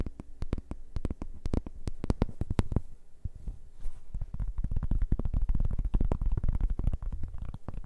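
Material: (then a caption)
Cork. A large, round, flat cork board, solid and thin and held in both hands, is tapped and scratched with fingertips and nails. Quick, dull, low thumps come in rapid clusters, easing briefly into softer scratching near the middle before the dense tapping returns. Each tap dies away almost at once.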